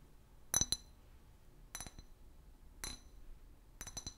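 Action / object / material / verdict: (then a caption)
tap / clear glass bottle / glass / none. A large, empty, hollow clear glass liquor bottle with a paper label is tapped with long fingernails. Several short clusters of bright, high clinks are heard, each decaying almost instantly, with quiet pauses between them.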